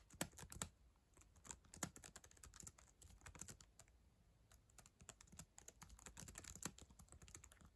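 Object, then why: Plastic laptop keyboard. Long acrylic nails and fingertips type on the plastic chiclet keyboard of a black ThinkPad laptop lying on a yellow blanket, pressing and tapping the keys. A quick, uneven stream of bright, sharp clicks mixes with softer, duller taps, each dying away almost instantly, over a quiet low background.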